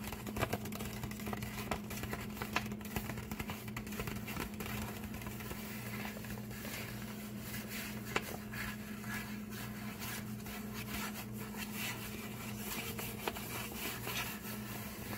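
A flat, folded, empty brown kraft paper bag lying on a table is tapped and scratched with the fingertips and short nails of both hands. The result is a steady stream of soft, dry crackles, scrapes and light taps with a few sharper clicks, over a constant low hum.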